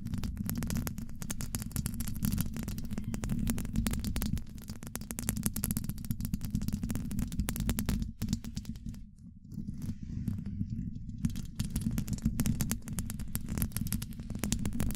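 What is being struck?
Steel mesh microphone grille.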